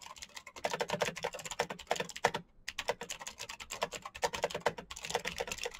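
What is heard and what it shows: Fingertips type fast on a full-size black plastic Razer mechanical keyboard with clicky green switches and RGB backlight. A rapid stream of sharp, bright clicks with a midrange clack around 480 Hz comes in quick bursts, each keystroke dying away almost instantly, with a brief pause about halfway through before the typing resumes.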